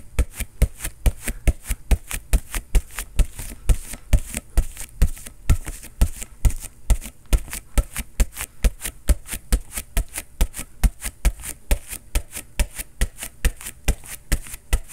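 A hollow, inflated synthetic leather soccer ball is pounded with a fist at a fast, fairly steady rate of about two hits per second. Each blow lands as a short, deep, booming thud with a faint bright slap on top, dying away almost instantly.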